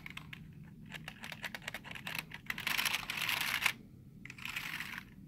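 Fingertips tap rapidly on the letter keys of a black plastic computer keyboard, giving a run of short, dry, bright clicks. Fingernails then scratch across the keys in a louder, dense rasp centered around 2.3 kHz. After a brief pause comes a softer second scratch.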